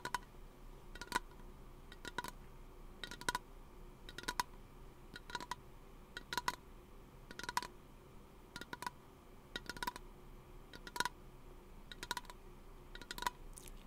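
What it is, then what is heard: Aluminum aerosol can tapped with fingernails. A small, hollow teal aluminum aerosol lotion can is held in the hand near the microphone and tapped with fingernails. Quick pairs of light, bright metallic taps repeat in a steady rhythm, each giving a brief tinny ring around 1 kHz that dies almost at once over a faint background hiss.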